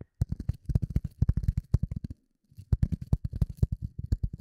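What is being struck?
Polyethylene foam block.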